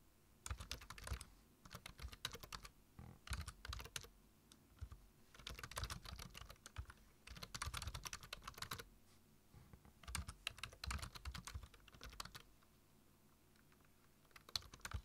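Fingertips tap the keys of a black plastic low-profile computer keyboard while typing, producing quick bursts of short, bright clicks with soft low thuds beneath them. The bursts are separated by brief pauses, and each click dies away almost instantly.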